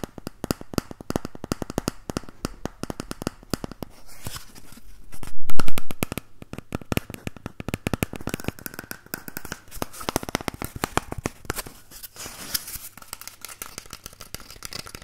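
An empty, hollow cardboard toilet paper tube is held close to the mic while fingertips and nails scratch and rub its surface and rim. Dense, irregular dry ticks and crackly scratches run throughout over a low rumble, with a brief louder swelling rub near the middle.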